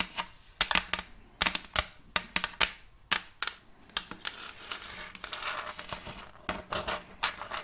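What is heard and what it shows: Long acrylic nails tap a round wooden plate with a checkerboard block inlay, which is picked up from flat and held upright. The result is a quick series of short, dry, bright clicks that die away almost at once, with a softer, continuous rustling stretch partway through.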